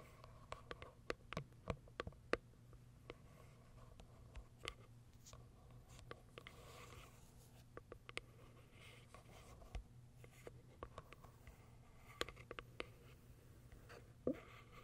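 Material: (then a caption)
Cardboard, plastic. Long acrylic nails tap and scratch the plastic window on top of a small white Kiara Sky cardboard box. Sharp, quick clicks with bright tops ring out irregularly over soft, quiet scratching and a low steady hum. The taps die away almost instantly.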